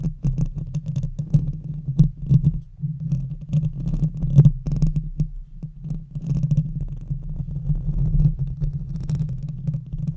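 Long red fingernails rapidly scratch and tap both sides of the hollow metal mesh grille of a silver Blue Yeti microphone. The result is a dense, continuous stream of dull, boomy thumps and scrapes over a steady low hum. Almost all of the energy sits in the deep low end, with only faint brighter ticks.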